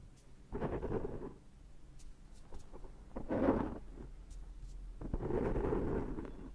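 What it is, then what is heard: Foam microphone windscreen. Fingertips and short nails lightly pick and scratch at the surface of a large, dark, soft, hollow-backed foam windscreen on a Zoom H6 microphone. Three muffled bursts of dense, crackling scratching stand out, with faint ticks and rustles between them. The sound is heavy in the low and mid range, with almost nothing bright on top.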